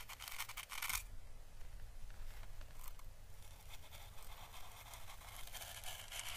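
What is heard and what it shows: An orange dried Chinese lantern (physalis) husk, a thin papery hollow shell held in the fingers, is slowly brushed with a small paintbrush. The bristles make a soft, steady, bright scratching and crackling over a faint low rumble, with brief louder papery bursts near the start and end.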